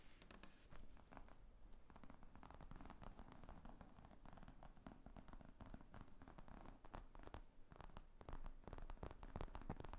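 Long fingernails tap and scratch the top of a large black leather laptop briefcase with zippers lying flat on a table. Dense, quiet, dry clicks and scratchy rustling run steadily throughout, with most energy in the low range and very little ring.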